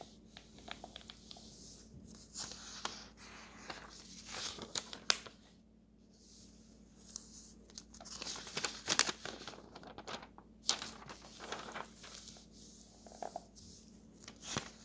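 A hand smooths a thin paper page of an open road atlas, then fingers turn its pages. Soft, bright rustling and crinkling are broken by sharp papery snaps as the pages flip, with brief quiet gaps between turns over a faint low, steady hum.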